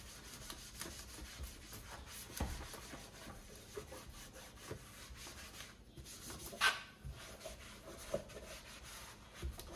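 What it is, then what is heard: Granite composite sink being wiped. A hand holding a white cloth rubs and wipes the floor and sides of a large, solid black granite-composite double kitchen sink, set in a white worktop and empty and wet. The result is a steady, soft, grainy rubbing and squeaking hiss. Four louder, brief swipe-bumps stand out from it.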